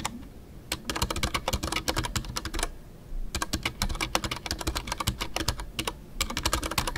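Fingertips type continuously on a full-size Ducky One 2 mechanical keyboard with a white case, MX Brown switches and custom artisanal PBT plastic keycaps. The sound is a rapid run of short, crisp keystroke clacks with bright tops and a deeper thock underneath, coming in three bursts separated by brief pauses.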